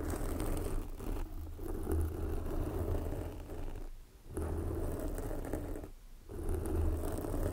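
Long glossy black fingernails on both hands scratch a soft, porous red foam windscreen covering a microphone. The result is a dense, continuous, low muffled rustling and rumbling with a few soft breaks in the scratching.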